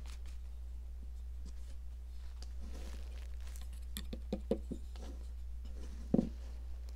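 A metal sculpting tool scrapes along the ridged surface of a red, hand-sized, solid popsicle-shaped block of cast chalk held in long-nailed fingers. Soft, dry scratching and small crumbly clicks play over a steady low hum. The clicks grow sharper toward the end, with the loudest snap near the close.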